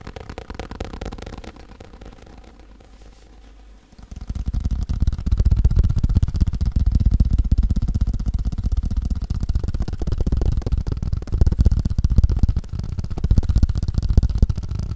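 A hand-held table tennis paddle with a black rubber face and blue edge is tapped quickly with fingertips and nails on the rubber face. The sound is a dense run of soft, low, muffled taps that starts quieter and becomes louder and fuller after about four seconds.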